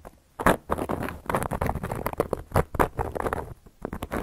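A hand with long yellow nails scratches and traces a carving tool across a round, flat, solid cork coaster. After a brief quiet start, a steady run of short, dry, rasping strokes follows, each a soft, muffled scrape that stops almost at once with no ring.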